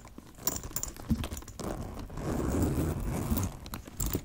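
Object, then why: Leather handbag with metal chain. A brush scratches and strokes a black leather handbag with a gold chain, working over both the leather and the metal hardware. Dull, low scraping and rustling fill the clip, rising into a steadier, denser scratching in the second half. Brief bright clinks and jingles from the hardware cut through at irregular moments.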